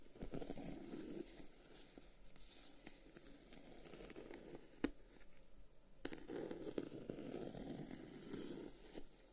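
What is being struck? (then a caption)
Wooden folding fan. A closed dark-wood folding fan with light paper between its slats is held in both hands while fingertips and nails tap and scratch along its wooden guard. Soft, rustling scratches come in two longer bursts at the start and near the end, separated by a quieter stretch. A few sharp, dry taps stand out in the middle, and the overall sound stays quiet and intimate.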